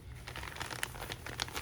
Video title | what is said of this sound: Vera Haul and Update on Custom Vera Tote (watch till end for thoughts)!! | so they put some sort of plastic in there to protect your item in case it rains